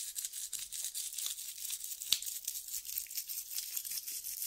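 A tan sandpaper strip is held between both hands while fingertips rub and scratch its gritty surface. The result is a quiet, continuous, bright rasping hiss with almost no low end, broken by quick scratchy strokes and one sharper scrape about halfway through.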